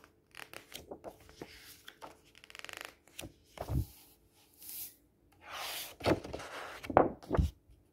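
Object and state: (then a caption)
Glossy paper brochure. Fingertips rub across a blank white glossy page of a large softcover brochure lying flat on a table, then across its yellow-green cover. The result is a series of short, dry papery swishes and scrapes with a quick rasping flutter partway through. Broader hissing strokes follow, and the louder rubs come near the end.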